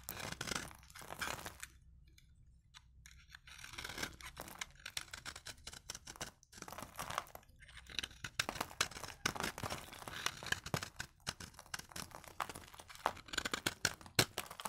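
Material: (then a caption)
Soap. A solid, pale cream vintage bar of dry soap is held in the fingers and shaved with a utility knife blade, curling flakes off its surface. Dry, crisp, bright scraping and crunching strokes come in rapid bursts with almost no ring. A quieter stretch near the start gives way to denser, louder shaving toward the end.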